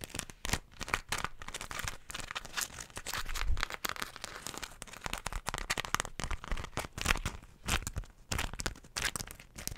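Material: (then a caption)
Waxed cotton. A folded floral beeswax wrap of stiff, wax-coated cotton is crinkled and bent in the hands, with long nails, close in front of the mic. Dense, continuous crackling and crinkling runs throughout, with sharp bright snaps and occasional deeper crunchy thumps.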